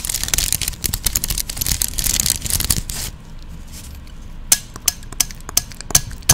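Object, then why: Plastic claw hair clip. A medium-sized cream plastic claw hair clip with open, hollow teeth is held in both hands close to the microphone while fingertips and long nails tap it and click its teeth. About three seconds of dense, rapid, bright clicking and scratchy tapping give way to a quieter stretch marked by six separate sharp, high clicks.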